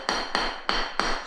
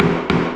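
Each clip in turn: First: Four sharp, bright taps with a quick decay: a ceramic floor tile that sounds solid, not drummy. Second: Two knocks give a low, boomy resonance around 170 Hz: a cement sheet wall sounding hollow.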